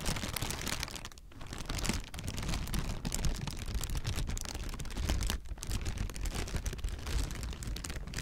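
A clear, air-filled plastic air-pillow packing strip is held in both hands and squeezed and crinkled. A dense, continuous crinkling rustle runs throughout, with bright crackles over a heavy low rumble. It briefly quiets around 1 and 5.5 seconds before resuming.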